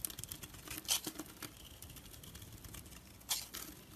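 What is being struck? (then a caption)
Bar of soap shaved with a blade. A solid, rounded, rectangular orange soap bar is held in the hand and shaved with a blade, peeling off thin curls. The shaving makes quiet, dry, bright scraping and crackling, with a steady run of small crisp ticks. Two sharper, louder scrapes stand out near the one-second mark and again near the end.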